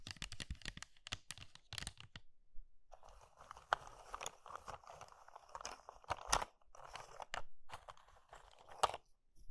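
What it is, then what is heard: Dry, crunchy soap curls. Long red nails scratch and squeeze hollow pink and blue dry soap curls in a pink soap bowl. The first two seconds bring a run of sharp, dry crunches, then a brief quiet. After that comes a steady brittle scratching centered in the midrange with bright hiss, broken by louder crisp crunches.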